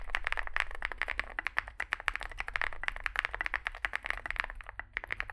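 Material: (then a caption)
Plastic. Fingertips type continuously on a small 65% Zoom65 mechanical keyboard with a dark case and white and grey plastic keycaps. About 39 quick, crisp keystrokes come through as bright clacks centred near 1.7 kHz. Each dies away almost instantly over a faint low hum.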